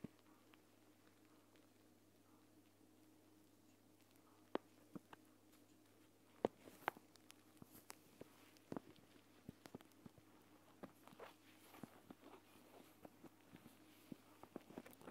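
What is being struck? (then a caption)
Plastic pouch filled with gel beads. Fingertips press, tap and scratch a flat clear plastic gel bead eye mask, a pouch filled with green gel beads lying on a mat. Quiet, dry clicks and short taps come at irregular intervals over a faint steady hum, with soft scratching and bead rustles in between.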